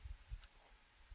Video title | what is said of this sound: Figure Action - Episode 95 - Biff Tannen, Walmart CEO | so when I set it down you're gonna hear it